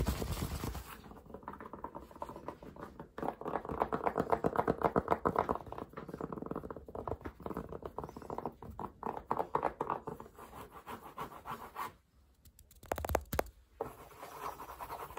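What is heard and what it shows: Fingertips and nails rapidly scratch and tap the crown and brim of a green fabric baseball cap worn on the head. The result is a dense, dry patter of quick, muffled scratches and taps centered in the midrange, with a brief near-silent pause before a short louder burst near the end.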